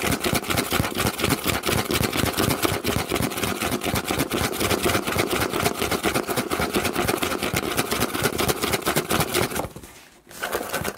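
Hands scratch and tap the flat side of a large, empty corrugated cardboard box held close, giving a hollow sound. Dense, rapid, papery scratching and tapping runs almost nonstop with a brief pause near the end before resuming.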